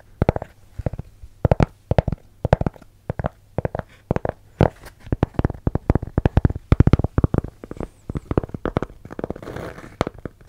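A round, thin, solid cork coaster about the size of a hand, held in both hands in front of a microphone without touching it, is scratched across its surface with fingertips and nails. The result is rapid bursts of short, dry, scratchy strokes with a dull, low-heavy tone. The strokes come in quick clusters separated by brief pauses.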